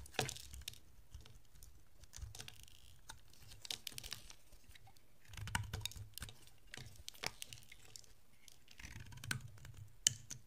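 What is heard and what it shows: A utility-knife blade scrapes curls off a solid rectangular yellow dry bar of soap with a blue coating. Quiet, dry scraping comes with crisp, bright clicks and crackles that stop instantly, over a faint low rumble. Slightly louder scraping passes come in bursts along the way.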